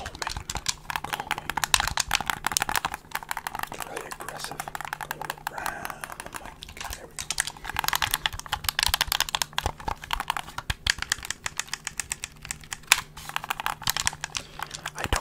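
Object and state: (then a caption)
Plastic game controller tapped and clicked. A hollow black plastic gamepad is held in both hands over a microphone while fingertips and nails tap and click its buttons and plastic shell. Rapid, dense, bright clicks and dry taps follow one another with almost no ring, over a faint steady low hum.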